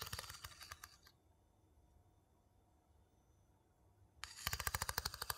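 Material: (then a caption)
Wood. A small, hollow, empty light-wood bowl held in one hand is scraped and tapped rapidly inside with the tip of a wooden spoon. The result is a quick run of dry, bright clicking taps with short scraping, then a near-silent pause of about three seconds, before another burst of sharp taps. Each tap dies away almost instantly with little ring.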